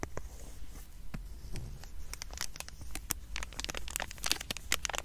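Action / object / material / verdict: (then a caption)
scrape / foil wrapper of a trading card pack / foil / none. A small sealed foil wrapper from a trading card booster pack is held close to the microphone while fingers and nails crinkle, tap and scratch the foil. Sharp, bright crackles and ticks come in irregular bursts over a steady low background rumble, each snap dying away almost instantly.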